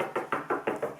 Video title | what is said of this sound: How To Fill Small Internal Cracks -Using Bartoline Plaster Skim & Repair | Usually if the plaster is about to fall off, you can hear it by tapping the wall, but that does sound okay.